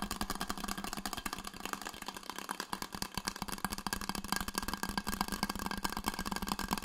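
Fingertips and nails tap and scratch the painted surface of a red insulated stainless steel Coldest water bottle with a white band, held in both hands. A dense, steady stream of quick, crisp taps and scratchy rasping runs throughout, each tap dying away almost instantly, over a faint low tone.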